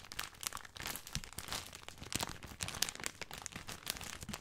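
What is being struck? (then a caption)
Plastic film bag of dry spaghetti. Fingertips scratch and crinkle the surface of a full plastic film bag of dry spaghetti. The result is a continuous, bright, crackly rustle of quick crinkles and sharp snaps with little low end, staying fairly quiet throughout.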